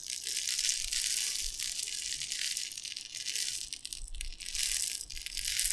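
A clear glass jar with a gold lid, filled with dry tapioca pearls, is held in both hands and shaken and tilted back and forth so the pearls shift and rattle against the glass. The sound is a dense, bright, hissing rattle with very little low end. It swells and fades in waves as the jar tips, dipping briefly before surging again toward the end.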